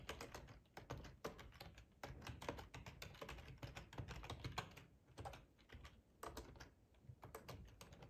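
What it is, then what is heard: Plastic computer keyboard being typed on. Fingertips of both hands type on a full-size black plastic ergonomic split keyboard resting on a cloth tablecloth. A steady run of quick, overlapping key clicks carries bright tops over a soft, low thud. Brief pauses in the rhythm separate the bursts.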